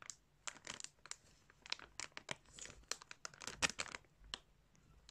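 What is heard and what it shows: Fingertips press, rub and crinkle a clear plastic bag filled with yarn close to the microphone. Quiet, bright, crisp crinkles and rustles come in irregular bursts, each crackle dying away almost instantly, with little low end beneath them.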